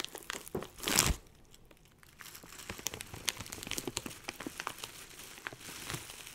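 Fingertips crinkle and squeeze a medium clear plastic bag filled with small dried granular herb buds, held close to the mic. A loud, bright crinkling burst comes early on, followed by a run of quieter, irregular crackles and rustles of the bag and the buds shifting inside.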